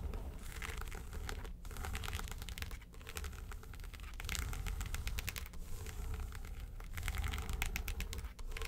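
Long nails rapidly tap and scratch the lid of a small, hollow, yellow textured faux-leather makeup suitcase. A dense run of quick, dry clicks and scrapes rides over a low, hollow thump from the case body, with short pauses where the nails lift. The taps die away almost instantly, with no ring.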